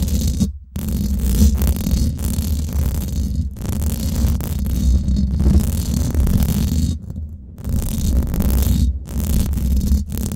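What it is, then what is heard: Metal mesh microphone grille being scratched. Long acrylic nails scratch and tap the hollow domed steel mesh head of a Blue Yeti microphone, at both fast and slow speeds. This gives a dense, continuous low rumbling scrape, mostly deep and muffled with a faint bright hiss on top. A few brief near-silent pauses break up the scratching.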